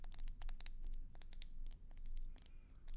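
A red and white swirled hollow glass hummingbird feeder is tapped with long nails, giving a quick run of bright, high glassy clicks and ticks that die away almost at once. A steady low rumble sits underneath the taps.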